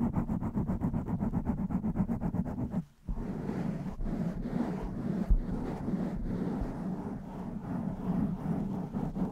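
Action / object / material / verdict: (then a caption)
scrape / foam microphone windscreen / foam / none. Long nails scratch the top and sides of a blue foam windscreen on a microphone, with the hands kept in continuous contact. The result is a dense, muffled, bass-heavy rustling with quick rhythmic strokes at first, a brief near-silent gap around three seconds, and then steadier, rougher scraping with little high end.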